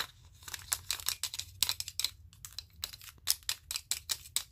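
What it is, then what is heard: Wooden clothespins tapped together. Wooden spring clothespins in a stack, with more clipped onto the fingers, are clicked and tapped against each other. The result is a quiet, rapid, uneven series of sharp, dry, bright clicks that stop almost instantly, with a faint low hum underneath.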